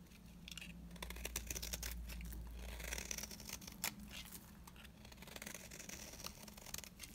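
A beige oval bar of dry solid soap is held in the hand while a blade scrapes curls off its surface. The scraping comes as quick, uneven, dry rasps with bright, crisp detail. A low steady hum runs underneath.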